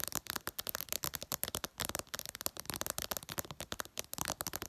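Long purple nails tap fast on the flat glass screen of a smartphone, about two dozen quick taps in under five seconds. Each tap is a short, bright click with almost no ring and little low end.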